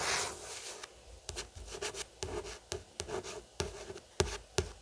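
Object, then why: Paperback book with card cover. About a dozen dry, hissy nail scratches on a card book cover, each brief with no ring.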